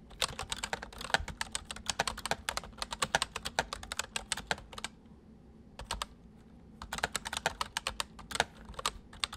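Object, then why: Plastic mechanical keyboard keys. Fingertips of both hands type on a white full-size MSI plastic mechanical keyboard with hollow keys, giving a rapid run of sharp, bright clacks that die away almost instantly. The typing breaks into near-silence for about a second just before the 5-second mark, taps briefly, then resumes in quick bursts to the end.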